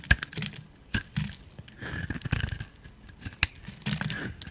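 A hand-sized solid turquoise bar of soap, held in one hand, is carved and scraped with a metal utility blade. Short bursts of dry, crunchy scraping are broken by a few sharp, bright clicks as flakes fall away.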